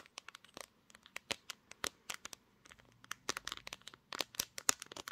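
Long green fingernails tap and scratch the glass back of a pink smartphone near its camera lenses, with the phone held in both hands while it records. About two dozen quick, sharp, bright clicks and scrapes come in uneven bursts, each dry and gone almost instantly, with little low end.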